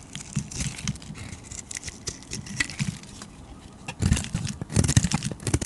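A hand-sized, solid purple and pink bar of soap is held in the hand while a flat metal blade scrapes and shaves along its face, raising powdery shavings. The result is a dense run of short, dry scraping and crumbly crunching strokes with a low thud-like body and bright, gritty edges. The strokes grow louder and heavier toward the end.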